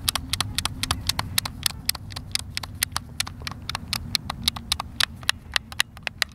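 Fingertips press and tap the buttons of a hand-sized, hollow white plastic Xbox controller, making a quick, irregular run of about 35 sharp, dry clicks. The clicks are bright and die away instantly over a soft, steady low rumble.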